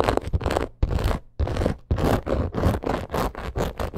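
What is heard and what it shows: Long acrylic nails scratch fast across a black crocodile-embossed leather purse. The result is dense, rapid bursts of rough, raspy scratching with a strong low thump, broken by a few brief pauses.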